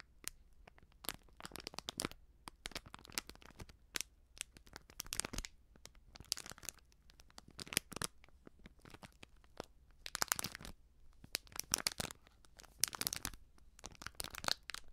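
Fingers and nails scratch a small, filled foil sachet of baking soda and crinkle its crimped edges. The result is dense, bright crinkling and scratching in quick bursts, with short clusters of louder rustling between quieter stretches over a faint low hum.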